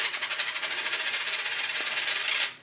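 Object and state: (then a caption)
Clad (non-silver) quarter. A 2013 copper-nickel clad quarter is dropped on a table. It gives a bright metallic ring with a steady high tone that bounces and chatters, then fades out over about two and a half seconds. Its tone is lower than that of a 1962 silver quarter, which marks it as clad rather than silver.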